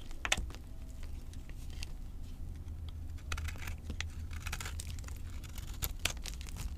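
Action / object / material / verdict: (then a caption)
scrape / soap bar cut with a knife / soap / none. A knife blade scrapes and cuts crumbly chunks off the surface of a solid, dry green avocado soap bar held in both hands. Quiet, crisp, bright crackling and crumbling scrapes come in short bursts over a steady low rumble, with a few sharper snaps standing out.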